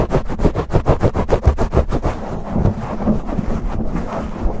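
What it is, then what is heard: Foam microphone windscreen being scratched. Fingertips and short nails scratch and rub a soft, hollow, fist-sized black foam windscreen on a silver USB condenser microphone, fast and aggressively with both hands. A quick, rhythmic run of muffled, low thumping scrapes, about three per second, blurs after two seconds into a continuous deep rumbling rub with almost no bright content.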